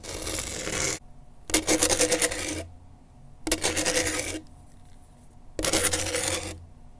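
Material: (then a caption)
Grip tape. A pen tip held in a gloved hand scratches across the gritty grip tape on a skateboard deck. Four bursts of dry, bright rasping are heard, each about a second long, separated by quiet pauses.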